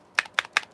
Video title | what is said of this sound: WTP Live Time! Let’s talk about Survive Knives new Drop.👌🔥🔪 | this one it has rattling as well